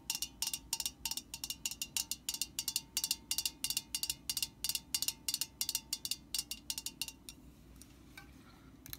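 Long nails tap the metal body of a metal aerosol spray can held at an angle, making quick, bright, clicky taps with very short ring in an uneven rhythm of about three per second. The tapping stops after about seven seconds, leaving a faint low hum and a few soft, bright sounds.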